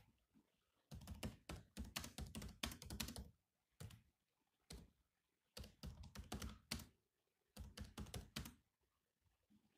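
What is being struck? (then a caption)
Plastic laptop keyboard keys. Fingertips type continuously on a grey laptop keyboard with black plastic keys, giving quick, clicky taps with a low thud and a bright edge. The taps come in irregular bursts separated by short pauses, each one dying away almost at once.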